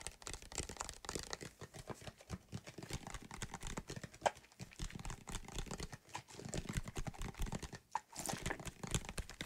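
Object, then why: Plastic bottle partly filled with soapy water. Fingertips and nails tap and scratch a medium white plastic bottle with a cap, partly filled with soapy water, while it is shaken close to the mic. The result is a quiet, dense stream of quick, dry taps, crinkly scratching and soft low thumps, with a couple of brief squeaky tones.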